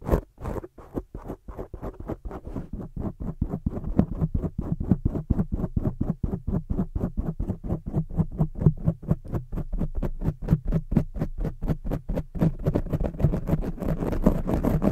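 Long studded nails grip a black foam microphone cover and scratch it from the top and sides. The result is a fast, steady run of short, dull, low rasping scratches, roughly two per second, that grows fuller and denser toward the end.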